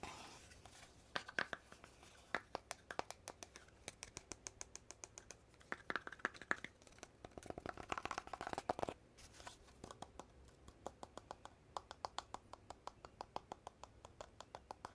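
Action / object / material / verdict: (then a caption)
tap / cardboard tube with metal end caps / cardboard / none. Fingertips and nails tap and scratch near the cap end of a long, hollow red cardboard tube with metal end caps and a gold metal band. The result is a quiet, rapid stream of short, dry, bright clicks with light scratching between them, each tap dying away almost instantly.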